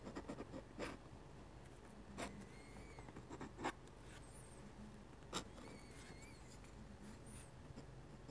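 A metal-nib dip pen scratches out small handwriting strokes on a sheet of flat white drawing paper. Soft, dry scratching runs throughout, with a few sharper nib scrapes standing out and faint high squeaks between them. The overall level stays quiet and close.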